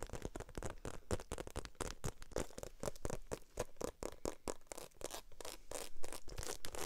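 Long nails rapidly tap and scratch the embossed surface of a small black glossy croc-embossed faux leather shoulder bag held in both hands. The result is a dense stream of short, dry clicks and scratchy scraping with no ring after each hit.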